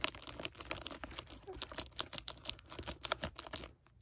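Fingertips tap rapidly across the plastic-jacketed cover of a red library hardcover with a tree design, held flat. The result is a quick run of light, crisp clicks with a bright, crinkly plastic edge and almost no ring, fading to quiet just before the end.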